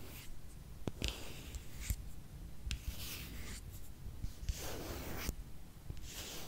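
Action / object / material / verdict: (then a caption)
scrape / plastic squeeze tube / plastic / none. Long nails tap and scratch a small, filled pink plastic squeeze tube of skincare product. Soft, dry scratching rasps in bright bursts, broken by sharp little clicks from the taps, all at a quiet level with a low rumble underneath.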